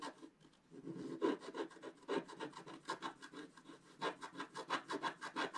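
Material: Coated paper.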